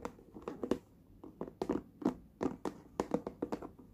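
Fingertips and nails tap the lid and sides of a small, hollow, closed red hard plastic lunch box, giving 18 short, hollow taps in irregular clusters. Each tap is a dull, low-mid knock centred around 370 Hz that dies away almost instantly, with quiet gaps between them.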